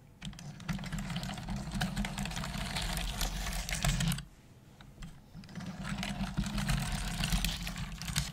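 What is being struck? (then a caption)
Plastic computer keyboard typed with fingernails. Long acrylic nails and fingertips type rapidly on a black plastic desktop computer keyboard with hollow keys, giving dense, clicky taps over a steady low hum. The typing pauses briefly around the middle, then resumes at the same busy pace.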